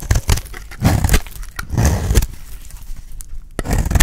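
A solid cream-white dry bar of soap is held in the hand while its edge is shaved with a metal utility blade. Repeated crackly scraping cuts come in uneven bursts, each with a dull low thump under brief bright, dry rasps that stop short with no ring.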